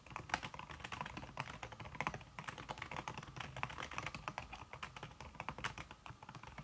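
Fingertips with red-painted nails type fast on a slim backlit aluminum keyboard whose keys are covered by a red silicone skin. A steady run of soft, quick clicks and muffled taps, each dying away almost at once, with a brighter clack now and then. The typing continues without pause, and no talking is heard.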